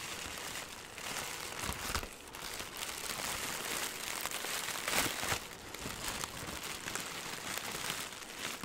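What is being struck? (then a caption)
Balled plastic film. A ball of green crinkly plastic wrap is held in one hand and crumpled and squeezed with the fingers. It makes a steady, bright crackling and crinkling that swells and fades, with a few sharper crunches along the way.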